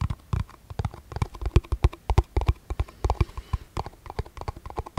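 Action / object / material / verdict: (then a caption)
tap / clear plastic cup / plastic / none. A small, hollow, empty transparent plastic cup held close up is tapped and scratched with fingertips and nails. The result is a rapid, uneven run of short, dull, bassy taps with crisp clicking edges. Faint scratching fills the brief gaps between them.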